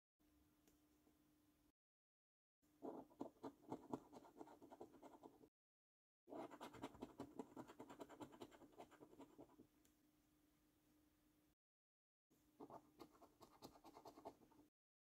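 A coin held in the fingertips scratches the coating off a thin paper £15 Luxury Lines National Lottery scratch card lying on a dark table. Quiet bursts of dry, rasping scrapes come in three main passages, separated by brief silent breaks. A steady low hum sits underneath throughout.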